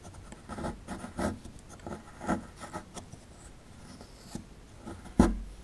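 A metal pick scratches and chips at the right side of a solid plaster fossil dig block, knocking loose plaster crumbs. Quiet, dry scraping strokes come in short bursts, with a sharper, louder chip near the end.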